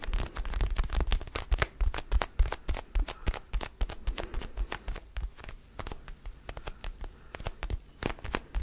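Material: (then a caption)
Rubber. Fingertips and nails tap and scratch an orange mini rubber basketball with black seams, held in both hands close to the microphone. Quick, irregular dull thumps with a deep low body mix with short, dry scratchy clicks that reach up bright and die away almost instantly.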